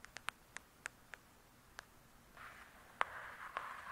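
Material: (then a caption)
Cardboard. Long nails tap and scratch the glossy cover of a "True Crime" hardcover book. A run of quiet, sharp, bright clicks comes first, spaced irregularly across the first couple of seconds. After that, a soft, steady rasping scratch sets in, broken by a few more crisp taps.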